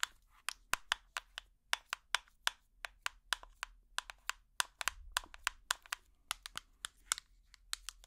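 A small plastic tub with an orange lid is tapped on its lid and sides with plastic finger picks, giving 31 quick, uneven taps. Each tap is a sharp, dry, bright click that dies away almost instantly, with little low end beneath a faint background.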